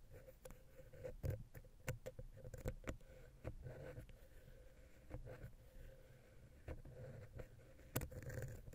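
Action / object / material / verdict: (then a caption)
tap / metal microphone capsule touched with a wooden pick / metal / none. A vertical wooden ear pick taps and scratches between the capsules of the silver metal X/Y microphone head on a Zoom H6. Quiet, dull, low-heavy taps and soft scrapes come in an irregular series, each dying away almost at once over a faint steady hum.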